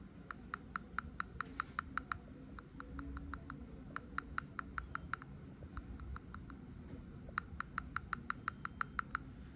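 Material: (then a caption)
Tooth. A dentist taps a human front tooth, tooth number 9, which has a pink area, in rapid bursts of about forty short, sharp clicks pitched around 1.3 kHz over a low background rumble. Its tapping sound is completely different from that of the neighboring tooth 8, marking it as an abnormal, pathological tooth; the pink spot suggests resorption.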